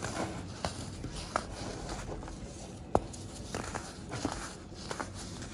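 Small solid pink-and-white pressed baking soda blocks are held in bare fingers and rubbed together over a bed of pink powder, showing a dry, crumbly texture. A steady soft, gritty scraping runs throughout, broken by five sharp, brief crunchy snaps, the loudest near the middle.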